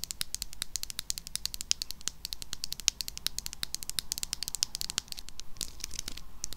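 A small, hollow, pink plastic cylindrical hair wax stick tube is held in the hand and tapped and scratched with long acrylic nails. Rapid, bright, dry clicks stream out with no ring, and toward the end they blur into a denser scratchy patter. A faint low hum runs underneath throughout.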